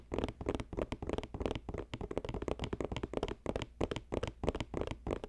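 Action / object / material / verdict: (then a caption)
tap / woven basket, wicker or cane / wicker / none. Fast fingertip tapping on a woven basket, a quick, irregular flurry of short, dry taps with almost no ring. The tone is mostly low and mid-range, with little high-end brightness.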